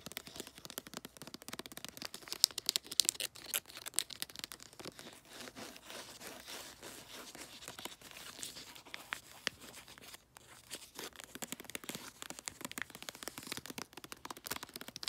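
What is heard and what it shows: Fingernails tap and scratch glossy, light blue bulldog-print wrapping paper marked DAD on a cylindrical gift. Dense, irregular dry clicks and crinkly scrapes carry mostly bright, high content with almost no low end. A quieter stretch of soft scratching in the middle is followed by a brief silence before the tapping picks up again.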